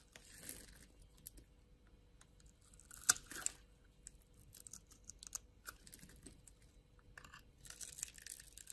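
A metal blade scrapes and scores the surface of a solid, palm-sized rectangular pink bar of soap held in one hand, shaving off thin flakes. Soft, bright, crackly scraping strokes come in short bursts, with a sharper, louder scrape around the three-second mark. A faint steady hum sits underneath the quiet passages.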